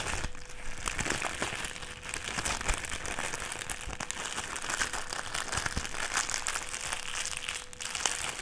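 A clear plastic strip, folded smaller, is crinkled between the fingers, giving a dense, continuous crackling and crinkling with bright, crisp edges. Close crackles keep the level steady throughout, with a faint steady tone near 500 Hz underneath.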